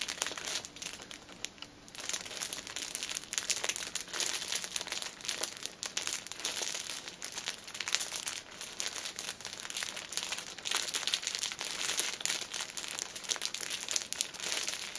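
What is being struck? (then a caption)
Pocket tissue pack in clear plastic film. Long nails squeeze and crinkle the front of a six-pack of pocket tissues wrapped in clear plastic film, held upright. The result is a dense, continuous stream of bright, crackly crinkling with no low end, rising and falling slightly in loudness over the full fifteen seconds.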